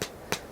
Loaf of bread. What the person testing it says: if you tap it, it gets a nice hollow sound, which means it's baked